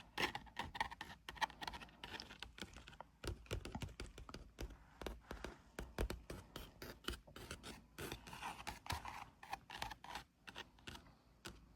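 Fingertips and nails tap rapidly on a stretched canvas print of the character Margaret. The result is a dense run of short, dry taps and light scratchy brushes that die away almost instantly.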